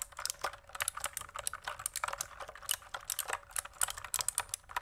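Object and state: Plastic mechanical keyboard.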